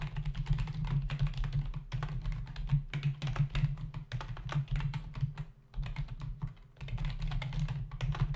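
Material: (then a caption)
Plastic. Fingertips of both hands type fast on a full-size black plastic membrane computer keyboard with hollow keys, resting on a desk. The result is rapid, dense bursts of short, dry clicking taps, broken by brief pauses, over a steady low hum.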